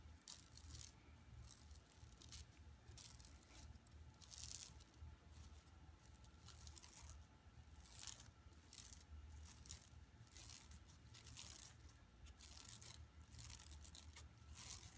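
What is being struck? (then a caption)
Woven plastic mesh bag. Long nails scratch along the lower edge and surface of an empty, flat yellow woven plastic mesh tote bag lying on carpet. The result is repeated bursts of bright, crackly rasping and rustling over a steady low hum, all at a quiet level.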